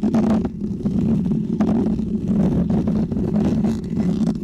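Fingertips and short painted fingernails from both hands scratch across the textured mesh cover of a small, round, hollow white microphone head held close. The result is a continuous, dense, steady scratching rumble with a strong low tone and short brighter scrapes flickering throughout.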